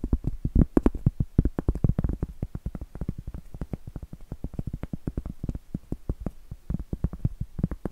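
Long acrylic nails tap and scratch a large, round, solid cork board held upright. The result is a rapid, uneven stream of dull, low, thudding taps, each dying away almost instantly, with faint scratchy texture between them.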